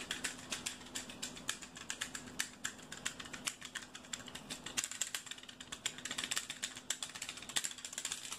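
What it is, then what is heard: Plastic utility cutter. A yellow plastic box cutter is held in the hands while its blade slider is clicked and its body is tapped with fingertips. The result is a rapid, uneven stream of sharp, bright, dry ratcheting clicks and taps, each dying away almost instantly, over a faint steady low hum.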